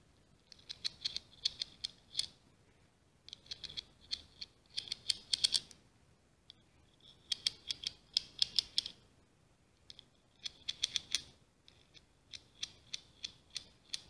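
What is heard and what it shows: Long nails scratch along the ribbed outer surface and rim of a small ribbed scallop shell held edge-on in both hands. Bursts of fast, dry clicking scratches sit almost entirely in the high, bright range, with brief pauses between them.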